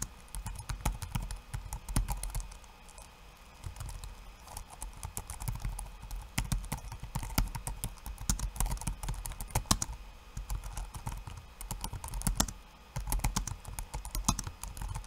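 Bare fingertips type fast, dense taps on a backlit laptop keyboard with plastic keycaps. The result is a steady stream of short, dry clicks with a soft low thump under each key, broken by brief pauses near 3, 10 and 12.5 seconds.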